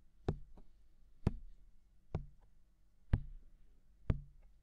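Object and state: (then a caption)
Silicone microphone ear tapped with fingertips. Fingertips tap the hollow, mounted white silicone ear of a binaural microphone. Five soft, muffled low thumps land about once a second, each followed by a faint, quieter after-tap and a brief low rumble.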